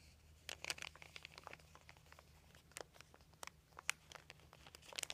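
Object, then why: Thin embossed plastic sheet. One hand rubs and crinkles a crumpled, thin white embossed dotted plastic sheet with its fingertips on carpet. The result is a quiet, irregular run of sharp, bright crackles and crinkles centred around 2.5 kHz, each dying away instantly over a faint steady low hum.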